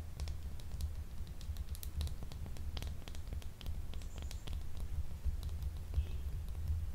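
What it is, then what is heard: Solid soap bar scratched with nails. Long nails scratch and tap a small, solid, translucent blue gemstone soap bar held unwrapped in the hand. Quick, bright clicks and light scratches patter steadily over a constant low hum, each tap dying away almost at once.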